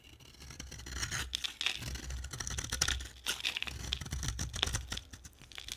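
A utility knife blade shaves thin curls off the surface of a solid, hand-sized, cream-coloured O'HERBAL soap bar held in one hand. The result is a continuous run of dry, bright scraping and crackling, with quick crisp flicks as each sliver peels away, over a faint low rumble.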